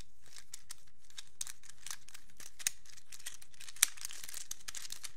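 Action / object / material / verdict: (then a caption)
flick / small hinged plastic infinity cube / plastic / none. A small black plastic hinged infinity cube is folded and unfolded with fingertips, its plastic blocks clicking against each other. The quiet, bright, crisp ticks and crinkly snaps come in an irregular stream, with a few sharper, louder clicks standing out.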